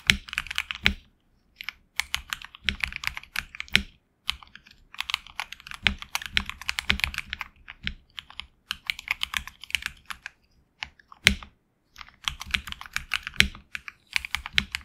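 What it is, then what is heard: Mechanical keyboard with PBT keycaps. A HyperX Alloy Origins Core mechanical keyboard with HX Red switches and backlit black and red PBT keycaps is typed on with the fingertips. Bursts of quick, bright keystrokes centred around 2 kHz clatter with short pauses between runs, with the occasional louder thock of a larger key. Each stroke stops almost at once with no ring.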